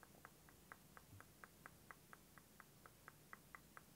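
Fingernails tap and scratch the surface of a clear plastic liquid motion timer with yellow ends and green liquid, held tilted. About 16 quiet, sharp clicky taps land roughly twice per second over a faint low background hiss.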